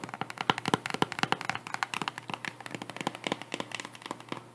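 Long nails tap and scratch a white strappy cork wedge sandal with faux leather straps and a woven cork/jute wedge heel, held in hand near the mic. A rapid, uneven run of short, dry clicks and scrapes sounds, each dying away almost at once, with a bright, crackly edge over a midrange tone.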